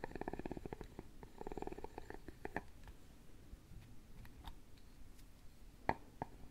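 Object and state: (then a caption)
Carved wooden jewelry box, hollow. A wooden stick scrapes across the openwork carved lattice of the hollow wooden lid of a round jewelry box, making a quick, ratcheting run of soft clicks in two bursts. Quieter scattered ticks follow, then two sharper, brighter taps near the end, all low and hushed with very little ring.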